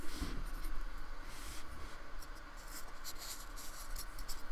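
A fine brush with a metal ferrule scratches and rubs across the textured surface of a small painted square of solid white polystyrene foam resting on a wooden table, in repeated strokes. It makes a quiet, steady scratchy rustle with soft, bright swishes that come and go over a low background rumble.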